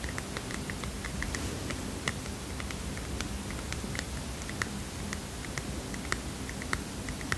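A small heart-shaped paper mini notepad is tapped with fingernails, producing a steady run of light, crisp clicks. The clicks sit over a soft, constant low rumble, with a few sharper, brighter taps standing out.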